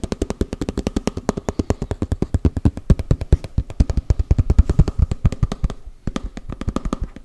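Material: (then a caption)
Plastic. A small, hollow round cosmetic tub, likely plastic, with a red side and a printed lid, is held up and rapidly tapped and scratched with fingertips and nails on the lid and side. Dozens of quick, dull, low hollow taps with very short decay run in a steady stream, with a brief pause near the end before the tapping resumes.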